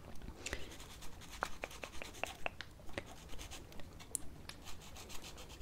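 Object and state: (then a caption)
Plastic false nail being filed. An emery nail file scrapes along the edge and surface of a plastic false nail fitted on a small solid silicone practice finger held between the fingers. The result is a quiet series of short, dry, irregular filing strokes with brief bright ticks and no ring.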